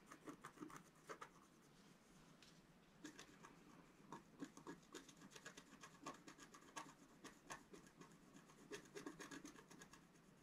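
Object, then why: Black-coated scratch-art paper sheet scratched with a wooden stylus. A wooden stylus scratches small details into the top left of a flat, black-coated scratch-art sheet, about A4 in size, lying on a table. Quiet, dry, short scratching strokes come in quick, irregular bursts with bright, raspy edges and brief pauses between them.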